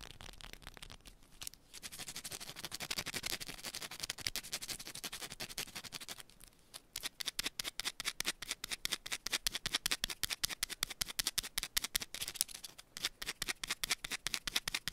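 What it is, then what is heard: Bar of soap scratched with nails. A small solid yellow bar of soap is held in one hand and scratched and tapped with long pointed nails. Fast, dry, bright scratching comes in dense bursts, broken by brief pauses near two and six seconds. It then shifts to a rapid run of sharp, crisp clicking taps.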